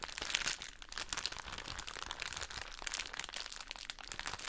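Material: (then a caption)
Soft plastic. A soft plastic drawstring bag full of cotton wool pads is crinkled and squeezed with the long nails of both hands. The result is a steady, bright crinkling and crunching with dense, quick crackles and little low end.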